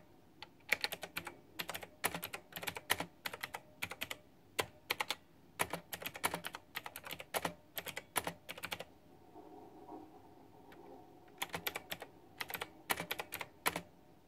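A white backlit plastic retro mechanical keyboard with round typewriter-style plastic keycaps is typed on steadily with fingertips and long nails. The clip is full of sharp, bright clicking bursts in quick runs. A soft low hum fills a brief pause near the middle before the typing resumes.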